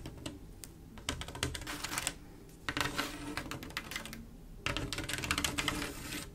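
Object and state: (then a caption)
Mirror glass mosaic tiles tapped and scratched with nails. Long acrylic nails tap and scratch along the tile rows of a mosaic picture, a flat panel of silver mirror-glass tiles set in grout. Rapid, bright clicking and scraping comes in three busy bursts separated by quieter stretches of softer rubbing. Each tap is sharp and dies away almost at once.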